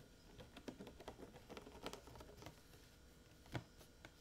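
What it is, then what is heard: Plastic water jug. A large blue hollow plastic water jug with a metal cap, partly filled with water, is held in a lap and tapped with fingertips and painted nails. About a dozen soft, irregular taps sound, each a short, dull, low thump with a faint click. The taps die away almost at once, with a slightly stronger tap near the end.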